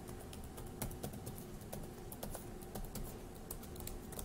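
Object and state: Plastic laptop keyboard being typed on.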